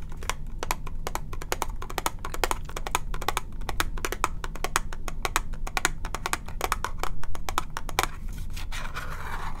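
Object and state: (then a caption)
Cardboard box tapped with fingertips and nails. A small, hollow, lilac cube-shaped cardboard box is held in one hand and tapped and scratched with fingertips and short nails. Quick, dry, close-up clicks and taps come in a steady, uneven stream over a low, constant rumble, ending in a brief, softer scratching rustle.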